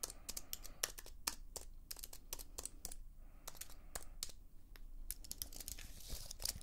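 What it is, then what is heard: Plastic and aluminium computer keyboard. Long fingernails tap and scratch the plastic keys of a slim white keyboard with an aluminium frame, held upright in one hand. Quick, sharp, bright clicks come in an uneven flurry, each dying away almost at once. Soft scraping runs between them over a faint low rumble, and a brighter scratchy burst comes near the end.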